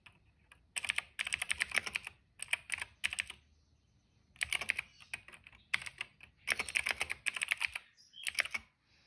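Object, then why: Plastic mechanical keyboard. Dense fingertip typing on a cream plastic mechanical keyboard with black and purple keycaps and a hollow case. It produces bursts of rapid, bright, clicky keystrokes centered around 2 kHz, with short pauses between runs. Each stroke is dry and short, with almost no low end.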